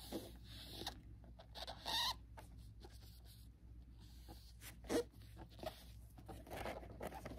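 A small rectangular printed cardboard box of antibacterial wipes, hollow and holding individually wrapped packets, is tapped and handled with nitrile-gloved fingertips. Soft, irregular taps and scratchy rustles sound over a low steady hum, with a few brighter crinkling bursts standing out.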